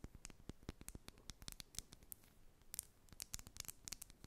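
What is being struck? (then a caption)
Small plastic lip oil tube with metal cap. A small clear plastic lip oil tube with a metallic cap, filled with red product, is held in both hands and tapped and scratched with long acrylic nails. It makes a quiet, rapid string of dry, sharp clicks with bright, crisp tips, mixed with soft scratching between them. Each tap dies away almost instantly.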